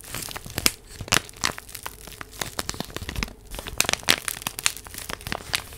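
A small purple paper envelope is crinkled and rubbed with fingertips and long nails close to the microphone. The result is dense, bright crinkling and crackling made of many short, sharp bursts, with most of the energy high up and little low end.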